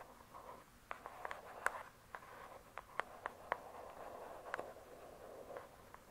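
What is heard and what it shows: Long pointed acrylic nails tap close-up on the glossy, paper-covered cardboard cover of a thick, solid hardcover book lying flat. About a dozen quiet, sharp, irregular clicks come with very short ring, over a soft, papery scratching hiss in the mid range.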